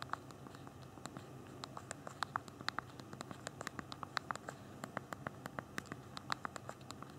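Thumbs rapidly tap the small plastic keys of a handheld BlackBerry phone's backlit physical keyboard while typing. The result is a quick, irregular stream of short, sharp clicks with a bright, ticking edge, each dying away almost instantly over a soft, steady low background noise.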